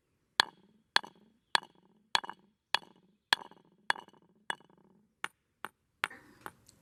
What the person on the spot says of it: pounded rocks for a little while with the hammer and then started pounding the rocks with other rocks just to hear the different sounds they were making